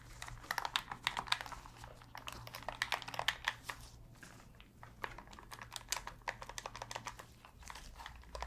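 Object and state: Plastic game controller buttons tapped.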